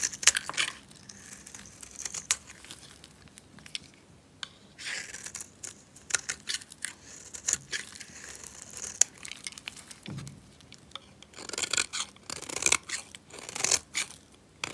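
A solid, dry, red rectangular bar of soap, held in a hand, is cut into thin slices and scraped with a metal utility knife blade. The clip is a steady run of crisp, bright scraping and crackling with short crunchy snaps and almost no low end, and each cut stops dead with no ring.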